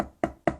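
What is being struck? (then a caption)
Wooden table. Three quick knocks on a wooden table, heard through the air, each a short, dull, mid-pitched tap that dies away almost at once.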